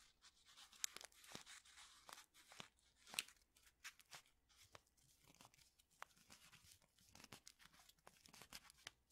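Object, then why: Paper-foil tea bag envelope. A small, flat Lipton tea bag envelope made of paper and foil is crinkled and rubbed between fingertips. It makes quiet, irregular bursts of bright, crisp crackling, with sharp snaps that die away almost instantly and very little low end.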